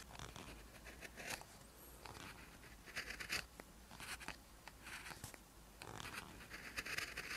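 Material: Paper.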